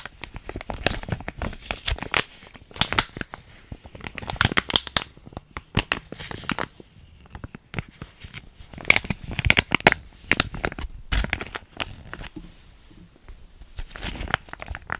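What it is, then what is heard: Plastic foil sachet crinkled. A small, flat, sealed plastic-foil hair mask sachet with yellow-white print, thin and full of product, is held up and crinkled and scratched with long painted nails and fingertips. Bright, crackly crinkles and sharp scratchy clicks come in uneven clusters with brief quiet gaps, each one cutting off almost instantly.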